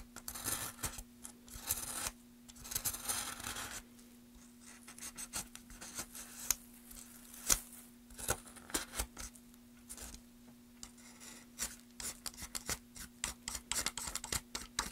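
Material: Wood.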